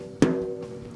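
A single tap on the top head of a snare drum near a lug, made during a tap-tone check with the bottom head lightly muted. The sharp strike settles into a steady fundamental tone around 258 Hz with a higher harmonic ringing above it. This spot is in tune with the others.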